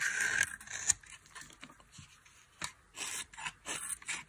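A dry, solid white soap bar with a blue coating is held in hand and shaved with a metal blade, with flakes falling away. Short, dry, bright scraping strokes come in uneven bursts, with a crisp, high hiss and almost no low end or ring.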